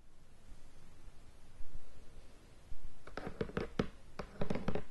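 Long painted fingernails scratch and tap on the lid of a medium rectangular cardboard Race for the Galaxy board game box, still in plastic shrink wrap, hollow and lying flat on a bed. A quiet, low, soft scratching with a couple of dull thumps gives way to a quick run of short, hollow taps that die away almost at once.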